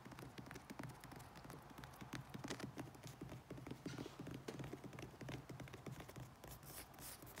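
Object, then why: Padded vinyl riding mower seat back. Fingertips and nails tap and scratch the padded back of a riding mower seat covered in yellow grained vinyl and black carbon-texture vinyl with stitched seams. It makes a quiet, rapid stream of soft, dull thumps under a faint scratchy rustle, with a brighter scraping hiss near the end.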